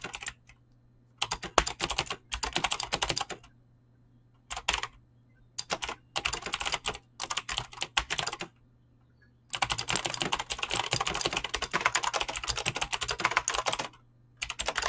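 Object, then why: Mechanical keyboard with plastic keycaps. A full-size mechanical keyboard with Razer green clicky switches and pink-blue PBT plastic keycaps, resting on a desk, is typed on quickly by fingertips with short painted nails. Bursts of sharp, bright clicky keystrokes come with short pauses between them, then a long continuous run of fast typing near the end. A faint low hum sits underneath throughout.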